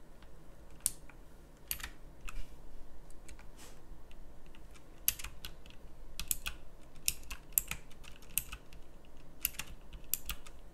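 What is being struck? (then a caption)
Plastic mechanical keyboard. Fingertips tap the round plastic keycaps of a full-size pink mechanical typewriter-style keyboard, typing in an uneven run of sharp, bright clicks. Each keystroke snaps off almost instantly over a steady low background hum.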